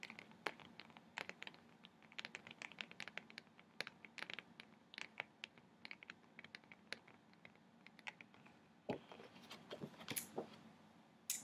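A large, flat laminated paper nautical chart of Johnstone Strait is held up while fingertips and nails scratch and tap its glossy surface. The result is a quiet stream of many short, bright clicks and scratchy scrapes that die away almost instantly. Near the end, louder crinkling rustles come as the chart is tilted.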